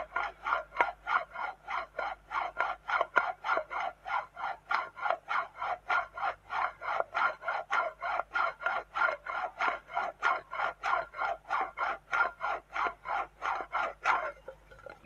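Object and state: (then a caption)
Metal tin lid. Long dark-painted fingernails scratch and tap the flat white printed metal lid and rim of a hollow, round tin can held in both hands. About 33 separate scratchy strokes repeat at a steady pace, each a brief rasp with a slight metallic ring in the midrange. The clip ends in a quieter rustle and a sharp final click.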